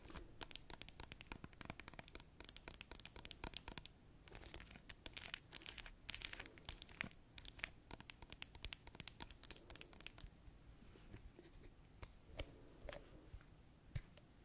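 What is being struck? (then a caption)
Small gel-filled plastic bottle. Long acrylic nails tap rapidly on a small, gel-filled plastic hand sanitizer bottle, making a dense stream of bright, crisp ticks and crinkly scratches for about ten seconds. The tapping then thins out into quieter, scattered clicks as the flip cap is handled at the end.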